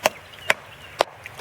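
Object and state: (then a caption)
Decayed spot in an oak trunk. Five sharp, dry taps on a decayed section of a white oak trunk give short, dull knocks centred around 650 Hz, with almost no low end and no ringing. The spot sounds different from the surrounding solid wood, and the damaged material is confirmed as decay, which is then dug out down to solid wood.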